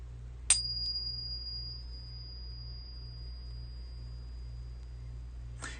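A silver coin held in a "pocket pinger" device is struck with its beating stick, giving a sharp tap followed by a clear, high, steady ring that sustains for about five seconds. A second tap comes at the end, over a constant low hum in the background.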